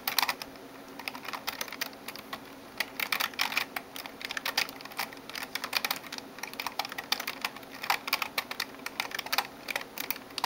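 Long nails type and tap on the keys of a backlit plastic gaming keyboard. Many quick, bright clicks land in uneven bursts, separated by short pauses, with almost no low end. Each tap is dry and cuts off instantly.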